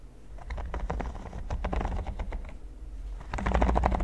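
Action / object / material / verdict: tap / silicone pyramid mat / silicone / none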